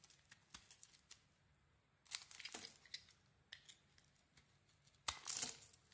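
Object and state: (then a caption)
Bar of soap being carved. A metal blade carves and scrapes a mint and cream bar of soap, making soft, crisp scratching and crackling sounds that are mostly bright and high. Short ticks are spread between a few louder rasping strokes, with almost no low end, and each sound stops quickly with little ring.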